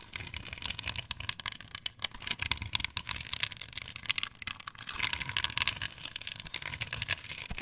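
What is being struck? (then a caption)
Plastic stencil on a wooden board. Long pointed nails scratch across a flat, perforated white plastic stencil with chevron cutouts, glued and mounted solid on a thin wooden board lying on a table. The result is a dense, bright, rasping scratch made of rapid dry ticks and clicks that runs continuously, with little low-end weight and no ring after each stroke.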